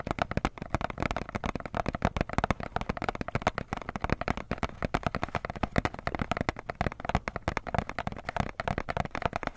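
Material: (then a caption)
Cardboard. Fingertips and nails rapidly tap and scratch the surface of a small, hollow printed cardboard box with pen drawings on it, held in both hands. Dense, dry, low-pitched taps follow one another continuously with almost no ring.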